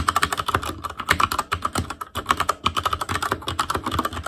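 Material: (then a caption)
Plastic. Fingertips of both hands type rapidly on a full-size ASUS ROG Claymore Core mechanical keyboard with plastic keycaps on Cherry MX Red switches, a metal plate, a hollow case and RGB backlight. A dense, steady stream of short, sharp plastic clacks follows, each tap dying away almost instantly with a hollow, mid-pitched click.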